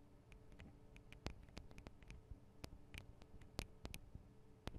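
Long acrylic nails tap fast on the tops of the small metal microphone capsules of a Tascam DR-40 recorder. The result is a quiet, irregular run of sharp, very short clicks with bright ticks over a low hum.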